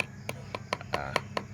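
A whitish, slightly yellowish metal bead smelted out of a rock the day before is knocked seven times at a steady pace, giving short, sharp metallic ticks with a tone near 1 kHz and almost no ring over a low background hum. It sounds like solid metal rather than stone or earth, and it does not crumble under the blows.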